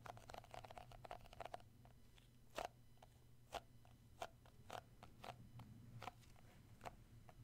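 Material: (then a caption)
Plastic. Fingertips tap on the lid and side of a round plastic shea butter tub held in one hand. A quick run of light, hollow clicks gives way to slower, spaced taps, each short and bright with a tone around 613 Hz. A low hum sits underneath throughout.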